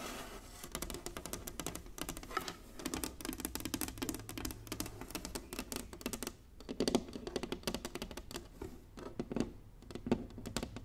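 Long nails tap rapidly across the squares of a large, flat, inlaid wooden chessboard. The result is a dense, steady stream of dry, clicky taps with a warm low-mid body, very short ring and bright edges, broken by a brief lull about two-thirds of the way through.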